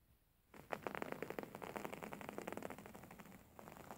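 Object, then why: Printed fabric cushion. A beige printed fabric throw pillow, held upright, is scratched by the fingernails of both hands. After a quiet half second, a rapid run of short, dry scratching strokes sets in, with crackly texture through the mids. The strokes ease slightly near the end before a few more come in.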